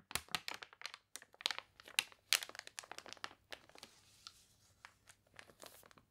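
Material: Paper.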